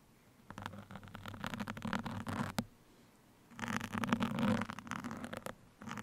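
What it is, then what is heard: Foam microphone windscreen scratched with pins. Two thin steel sewing pins, held in the fingertips of both hands, scratch and poke the surface of a soft black open-cell foam windscreen fitted over a microphone. Dense, scratchy crackling and rustling come close to the mic with a low steady hum underneath. The sound arrives in two long bursts separated by a near-silent pause, then starts up again at the end.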